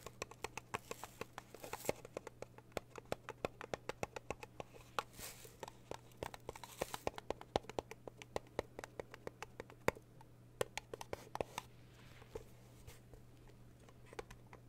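Long blue nails tap and scratch across the printed lid of a small rectangular red metal Twinings tea tin held over a quilted tablecloth. Quiet, rapid, dry clicks with a light metallic tick sound in an uneven stream, mixed with soft scraping. A steady low hum runs underneath throughout.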